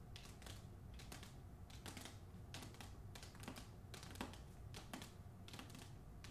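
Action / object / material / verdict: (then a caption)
tap / hardcover book with paper dust jacket / cardboard, paper / none. Long acrylic nails tap and scratch the front cover of a medium hardcover novel, a solid book with cardboard boards in a glossy paper dust jacket, held upright. Quick, bright, clicky taps and short scratchy strokes come in an uneven, keyboard-like rhythm over a steady low hum.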